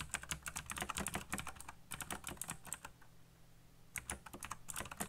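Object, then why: Plastic mechanical keyboard. Fingertips type fast on a backlit black plastic mechanical keyboard with RGB lighting and hollow key switches. Quick, irregular bright clacks come in bursts, with a short pause near the middle before the typing resumes. Each tap is dry with almost no ring.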